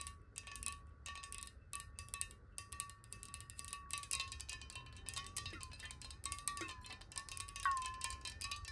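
Long nails tap rapidly on the walls of a clear glass water bottle that is held horizontally with some water inside. The result is a quick, uneven stream of bright clicks over a steady glassy ring near 1.1 kHz, plus a fainter overtone higher up. The pitch wobbles as the water shifts, and a low rumble sits underneath.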